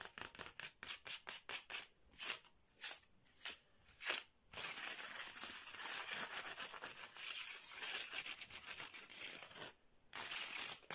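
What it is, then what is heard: Bamboo slat mat being scratched. Fingernails on a hand wearing rings scratch and rub quickly across a flat, striped bamboo/wood slat mat. First comes a rapid run of short, separate scrapes, then a steady, bright, hissing rasp of continuous scratching. It pauses briefly and resumes at the end, with almost no low end throughout.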